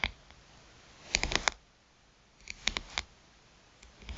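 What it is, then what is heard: Smartphone glass screen tapped with nails. Long pointed nails tap the glass touchscreen of a smartphone with a metal rim, lying flat on a mat. Short, dry, bright clicks come in two quick clusters, with a few scattered taps at the start and end and quiet pauses between.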